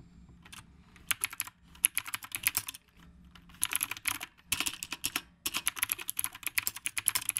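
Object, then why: Mechanical keyboard with round plastic keycaps. Both hands type continuously with the fingertips on a black retro typewriter-style mechanical keyboard with round plastic keycaps. Dozens of quick, bright, clicky keystrokes come in rapid bursts separated by brief pauses, each click dry and cutting off almost instantly.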